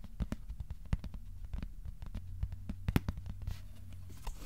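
A thin, flat, solid white cardboard sheet about A4 size is held upright in both hands and tapped with short-nailed fingertips. It gives a quick patter of soft, dry, dull taps that stop almost instantly, with some brighter flicks over a steady low hum.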